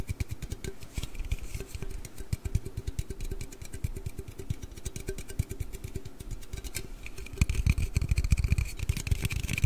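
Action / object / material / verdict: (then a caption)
tap / aluminium drink can / aluminium / none. A large, hollow aluminium Red Bull energy-drink can is held in the hands, tilted and moved while it is tapped and scratched with the nails. The result is a dense, uneven stream of quick, dull taps with a deep hollow thump, overlaid with faint bright scratching. The tapping grows louder and heavier toward the end.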